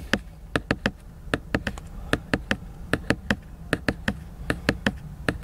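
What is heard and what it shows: Fingertips and short nails tap and knock on the glossy cover of a large, laminated cardboard hardcover children's book lying solid and flat in a car. About twenty-two short, dry, crisp taps land in an uneven rhythm, each dying away almost instantly, over a steady low hum.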